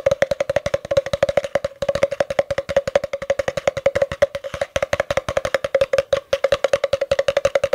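Fingertips and short nails tap rapidly along the side of a long, empty, hollow spiral-wound cardboard tube held upright, with a face hidden behind it. The steady stream of short, dry knocks rings with a hollow, woody tone around 566 Hz, fading almost instantly after each tap, with faint bright clicks from the nails.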